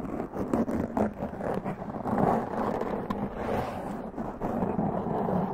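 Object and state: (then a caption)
Foam microphone windscreen being scratched. Long press-on nails scratch a black foam windscreen on a large condenser microphone, making a dense, continuous muffled scratching and rustling. The sound sits mostly in the low-mids, with no bright top. It swells and dips unevenly throughout.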